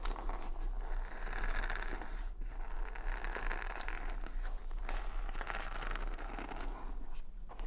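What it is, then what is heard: Wooden hair brush bristles. Long nails scratch and flick the bristles of a wooden paddle hair brush with beads, held close to the mic. The result is a steady, dense run of crackling, rustling scrapes with bright clicks, over a constant low rumble.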